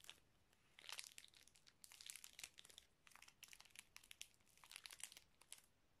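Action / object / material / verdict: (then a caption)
scrape / small plastic zip-lock bag with small items inside / plastic / none. A small clear plastic zip-lock bag with red stripes near the seal, filled with small colourful items, is crinkled and squeezed by fingers close to the microphone. Quiet, bright crackling rustles come in uneven bursts of short crisp crinkles, with almost no low end.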